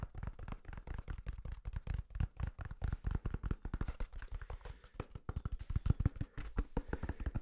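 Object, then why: Paper toilet paper roll. A soft, full roll of white toilet paper with a cardboard core, held in the hand, is tapped quickly and continuously with fingertips and nails. The dozens of quiet, dull, low thumps are muffled and die away almost instantly, with no ring.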